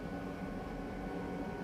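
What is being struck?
Nothing is struck.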